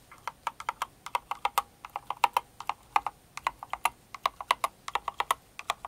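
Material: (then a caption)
Plastic. Long-nailed fingers type on a Cinnamoroll kawaii mechanical keyboard with plastic keycaps, producing about 38 sharp, distinct clicks in an uneven rhythm. Each click is a short, dry tap centered around 1 kHz with bright high edges and almost no low end. The clicks die away almost instantly.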